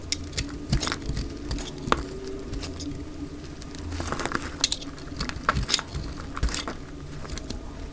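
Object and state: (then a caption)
Dry soap bar shaved with a blade. A utility knife blade shaves a dry, light green bar of soap down along its sides into long strips. Many quick, dry scraping crackles and crisp ticks follow one another over a soft, steady low rumble, each sharp and stopping almost at once.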